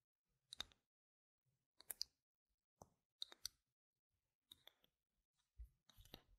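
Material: Plastic.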